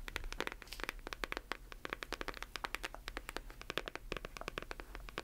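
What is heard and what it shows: A closed hardcover book is turned in the hands while long nails tap and scratch its covers. A quick, uneven run of sharp, dry clicks with bright, crisp highs and no ring is broken up by brief scratchy scrapes. It all sits quietly over a faint low hum.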